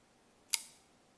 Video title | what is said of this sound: Giant Mouse 🐁 GM3 So close to being a home run | the way it sounds it sounds like it's got a paper-thin liner